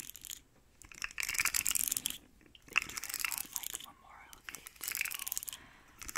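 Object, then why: Segmented plastic slug toy scratched with nails. Long nails scratch quickly along the ridges of a hand-sized, rainbow, segmented plastic slug fidget toy with hollow segments. Bursts of bright, dry, crackly scratching come in several rough waves, separated by brief quiet gaps.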